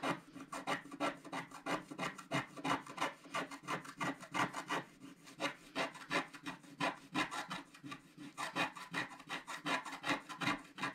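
A thin wooden stylus held in the fingers scratches the black coating off a wax-coated scratch-art paper page with a galaxy and planets design, lying flat on a table while the other hand holds the sheet steady. Quiet, dry, raspy scratches come in short strokes at about three per second, each bright scraping burst fading almost at once.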